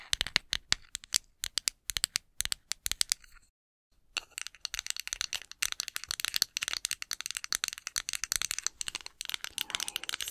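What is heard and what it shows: A small, solid, light wooden cooking spoon, its handle held horizontally, is tapped and scratched with long acrylic nails. Quick, dry, bright clicks and taps come in rapid bursts, pause briefly, then return as a denser stream of tapping and scratching. Each hit is sharp and dies away at once, with almost no low end.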